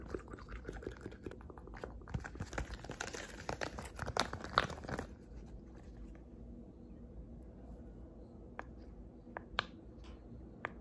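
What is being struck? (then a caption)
Silicone pop-it fidget toy. A hand-sized blue hexagonal silicone pop-it fidget toy with hollow bubbles is pressed with fingertips and nails, making the bubbles pop and click. A dense, rapid run of bright pops and crinkly clicks fills the first five seconds, then a few scattered, sharper pops stand out against a quiet background.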